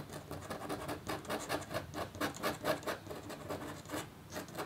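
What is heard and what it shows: A thin, roughly A4 scratch art board, a black coating over copper foil on card, lies on a black table and is scratched with the metal tip of a red-handled scratch stylus held in the fingers. Continuous fine scratching strokes come as quick, unevenly spaced rasping bursts with a papery, bright edge and a faint tone around 630 Hz. The sound is quiet, with almost no low end.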